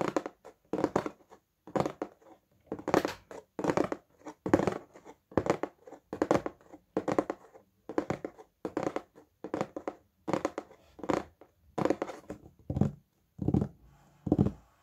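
Fingertips and nails tap and scratch the lid of a large, hollow white/beige Tamaris cardboard shoe box held flat in both hands. Short, dry, hollow bursts of tapping and scratching come at an uneven pace, mostly in the mid frequencies, with little ring after each one.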